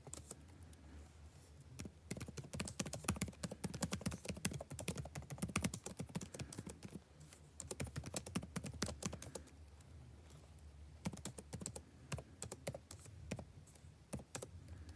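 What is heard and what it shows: Fingertips type continuously on the blue-backlit plastic keycaps of a dark laptop keyboard, producing rapid, dry clicking taps that fade almost instantly. The typing slows and thins out briefly around the ten-second mark before resuming, over a faint low hum.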